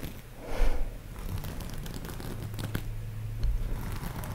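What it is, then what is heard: Sequin fabric pillow. Long nails scratch and brush across a large, soft pillow covered in iridescent pink and white sequin fabric, flipping the sequins. The result is a soft, continuous crinkling, scratching rustle over a low rumble, with a louder swell near the start and small clicks scattered throughout.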